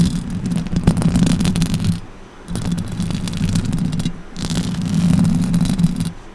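Long orange acrylic nails scratch and tap the metal mesh grille of a silver USB condenser microphone on a stand, using both hands. Three bursts of dense, crackling, rattly scratching carry a strong low rumble with a steady hum underneath, plus brief bright streaks. Short quieter gaps separate each burst.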